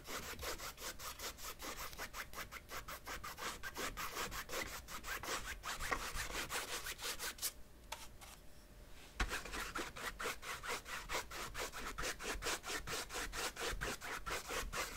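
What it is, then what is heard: Stretched cotton painting canvas. A flat bristle paintbrush is rubbed in rapid, repeated strokes over a flat white primed stretched cotton canvas on a wooden frame lying on a table. Each stroke makes a dry, scratchy swish with a bright hiss. The brushing stops briefly around the eighth second, then resumes at the same steady pace.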